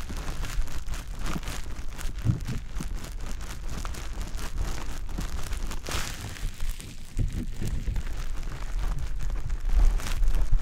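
A small, soft, porous, pale-green teardrop-shaped wet konjac fiber sponge puff, held in the fingertips, is rubbed and pressed against the silicone ear of a black dummy-head microphone. The result is a steady stream of squishy, crackly contact sounds with a dense low rumble and brief brighter rustles throughout.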